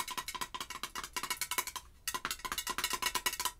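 Long acrylic nails rapidly tap and scratch around the rim of the gold metal screw lid on a pink glass Bath & Body Works Christmas candle jar. About twenty short, bright clicks carry a ringing metallic tone near 1 kHz that dies away almost instantly. The clicks pause briefly near the middle before a second quick run.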